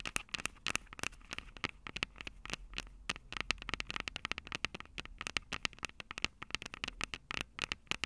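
Long purple acrylic nails rapidly tap and scratch the two metal microphone capsules of a small black plastic Tascam DR-05 handheld recorder held upright. A dense, irregular stream of sharp, bright clicks and crackly scratches, centred around 2.7 kHz, each dying instantly with no ring. A faint low hum runs underneath throughout.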